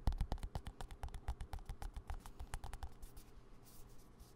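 A small green plastic squeeze tube of hand cream is tapped and scratched with fingertips and nails close to the mic. About 22 quick, dry taps land in an uneven rhythm, each a soft low thump with a short bright click. The tapping fades into quieter, hissy scratching toward the end.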